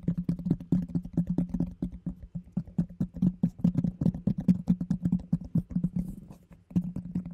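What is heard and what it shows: Long fingernails tap and scratch the base of a round, hollow orange plastic food container with a yellow lid. The result is a rapid, uneven run of dull, hollow taps with a low, resonant body and very short decay. Faint scratching patter runs between the taps.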